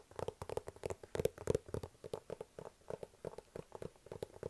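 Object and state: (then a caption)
Cardboard box tapped. A medium, hollow white cardboard iPad mini box is tapped with fingertips and nails on its top and sides. About 25 quick, dry taps come in an uneven rhythm, each with a hollow knock centered around 450 Hz and a faint bright click from the nails. The taps stop almost instantly with no ring.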